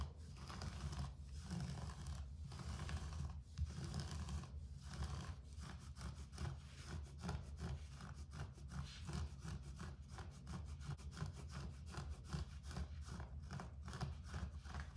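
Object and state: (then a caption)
Carpet floor. Fingertips and nails scratch the pile of a short-pile grey carpet on the floor, a large flat surface. A steady, rough rubbing sound heavy in the low end repeats in quick strokes, with a few brief pauses early on before settling into a continuous rhythm.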